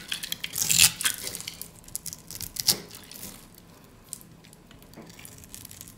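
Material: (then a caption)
Soap. A utility knife scores a grid into the surface of a solid, hand-sized, dry green soap bar held in the hand and scrapes off crunchy slivers. Bright, crisp crackling and tearing crunches come in quick bursts, loudest near the start and again shortly before three seconds, then thin out into quieter, sparse scratches.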